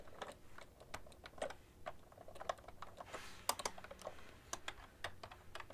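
Both hands type with long-nailed fingertips on a cream plastic ergonomic keyboard with hollow keys. Quick, hollow plastic clicks and taps land in an uneven flurry, each dry and brief with bright edges. A faint, steady low hum sits underneath.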